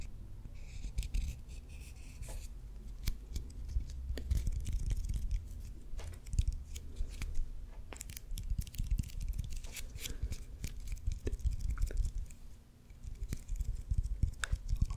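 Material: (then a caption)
Leather. A solid baseball with white leather and red stitching is held in the hands close to the mic while fingernails scratch and tap along the stitches and leather surface. The result is a dense run of quick, dry clicks, taps and rasping scratches over a deep, muffled low rumble from handling, with bright crackly edges on the sharper taps.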